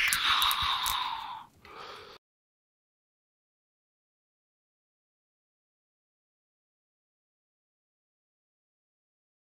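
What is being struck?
Nothing is struck.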